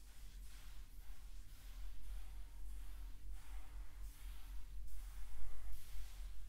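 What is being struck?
Nothing is struck.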